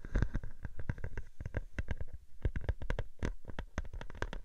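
A sheet of clear plastic bubble wrap laid over a microphone is scratched with long nails, then lifted and crinkled. This produces a rapid, uneven series of sharp, dry crackles and scratches with deep, boomy low-end thumps, each dying away almost instantly, with a brief lull partway through.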